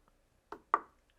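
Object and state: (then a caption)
Solid loudspeaker cabinet. Two knocks on the cabinet of a Starke Beta 5 bookshelf speaker give short, dull thuds with no hollow ring, the second louder than the first. They die away almost at once, sounding very solid and even sturdier than the Beta 7 it is compared with.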